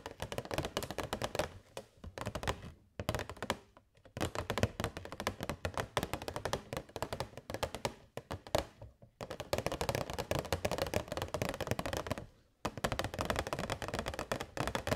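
Long nails tap rapidly on a hollow, transparent plastic box holding LED fairy lights. The result is dense bursts of light, hollow clicks and thunks, broken by a few short pauses.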